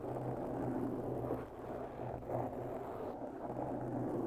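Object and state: Foam microphone windscreen being scratched.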